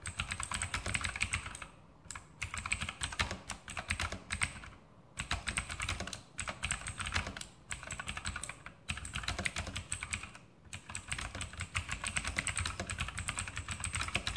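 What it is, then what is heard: Mechanical keyboard with clicky plastic keycaps. A full-size RGB Sharpshooter X2000 mechanical keyboard with Outemu blue switches and plastic keycaps on a metal top plate is typed on with fingertips. The result is a continuous stream of sharp, bright clicky key presses with a low thud underneath, broken by brief pauses between bursts.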